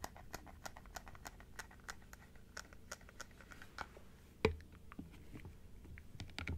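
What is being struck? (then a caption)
Plastic dental teeth model. Long acrylic nails tap and scratch along the rows of teeth on an open plastic typodont dental model. Quick, light, bright clicks patter steadily over a low background hum. One sharper, louder knock lands midway through.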